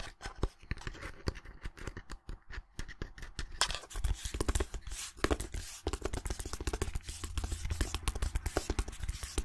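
Long nails rapidly scratch and tap the back of a small, flat, hollow white cardboard display box held in both hands. The result is a dense run of short, dry clicks and taps over a hollow low thump, with scratching growing brighter and busier after the first few seconds.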